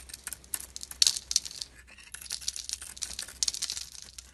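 A metal utility-knife blade scrapes and carves thin shavings off a hand-sized bar of soap with a purple glitter coating and a white core, held in the hand. The clip is a dense run of crisp, bright scratching and crackling strokes, with a few sharper, louder scrapes standing out. Each stroke ends almost instantly with no ring.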